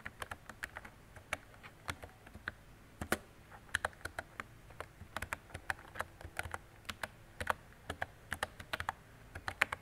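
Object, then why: Plastic mechanical keyboard. Fingertips with long decorated nails type steadily on a mint-green retro mechanical keyboard with round plastic keycaps and a hollow body. About 38 quick, sharp clacks sound over nearly ten seconds, each bright and hollow with a tone near 1.8 kHz and almost no ring. The clacks come in uneven bursts over a low, quiet background.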